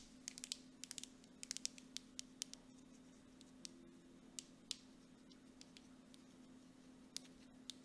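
Long nails tap and scratch quickly across the front label of a grey plastic mud mask jar with a metal lid. Sharp, bright clicks come in irregular bursts with soft scratching between them, over a faint steady low hum. Each tap is short and dies away almost at once.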